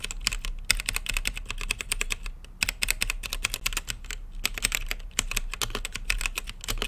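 Fingertips type on a mechanical keyboard with plastic keycaps and a translucent lit case. Rapid, sharp, bright clicks come in quick bursts with short pauses between them. A low, steady hum sits underneath.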